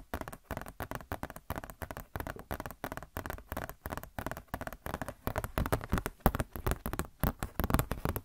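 Long nails tap and scratch a glossy paper Blizzard Shop catalog booklet. The result is a rapid, uneven stream of soft, dry taps and scratchy rustles, mostly low in tone with very little brightness. Each sound dies away almost instantly.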